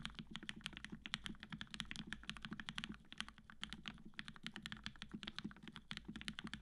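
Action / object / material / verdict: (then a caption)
tap / mechanical keyboard with PBT keycaps and aluminum plate / plastic, aluminum / none. A black-cased tenkeyless Matrix 8X V2.0 mechanical keyboard with an aluminum plate, cream PBT keycaps and retooled 65g black switches fitted with Gateron yellow springs is typed on steadily with the fingertips of both hands. Quick, dense keystrokes give bright, crisp clacks over a low, solid body beneath each press, with a steady low rumble throughout.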